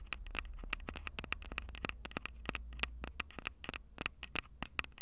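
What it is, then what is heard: Handheld audio recorder tapped and scratched on its mic capsules. Long purple nails scratch and tap the small metal mic capsules and plastic sides of a Tascam DR-05 handheld recorder. Dense, rapid, sharp clicks and scrapes with a bright ring near 2.7 kHz come over a low rumble that fades after about three seconds.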